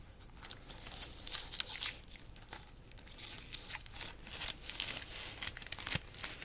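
Long nails scratch the rind of a large, solid whole pineapple, then grip and rub the stiff leaves of its crown. The result is a run of dry, bright, crackly scratching and rustling bursts, mostly high-pitched with very little low end and no ring after each stroke.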